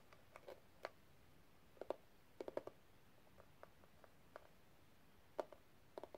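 Long red nails tap and scratch the pink rhinestone gem-tile cover of a small, closed metal case. Sharp, dry clicks and ticks with a slight glassy edge come in uneven bursts, each dying away almost instantly over a quiet, faint background.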